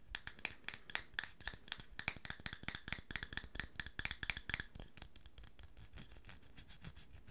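A small cosmetic jar with a silver metal screw lid and a blue-and-pink paper label is held in the hands while long fingernails tap and scratch the lid and the label. Quick, dry, bright clicks come in a rapid, uneven stream over a soft scratchy rustle. The taps are sharpest in the first half and turn lighter and softer toward the end.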